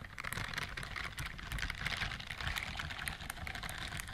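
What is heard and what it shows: Long nails scratch and strum the bristles on the palm and fingers of a white silicone dishwashing glove worn on one hand. The result is a dense, continuous stream of bright, crackly scratching with quick clicky ticks around 2 kHz over a low, soft rumble.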